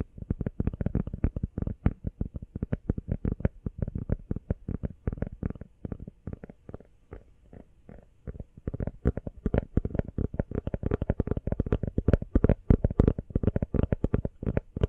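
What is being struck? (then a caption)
Rubber phone case. An empty teal rubber iPhone case is held in both hands and tapped fast with the nails and fingertips. The result is a dense stream of short, dull, low tapping thuds. The taps thin out and soften around the middle, then return louder and quicker for the rest of the clip.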